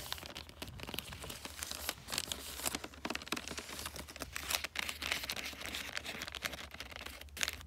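Long nails scratch and crinkle the creased red glossy wrapping paper on a flat gift, making a dense run of crisp, bright rustles and quick scratchy taps throughout, over a faint steady low hum.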